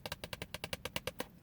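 Fingers tap on a small paperback copy of *The Pocket Book of O. Henry Stories* inside a car. There are eleven quick, dry, wood-block-like taps at an uneven pace, each bright and fading almost instantly.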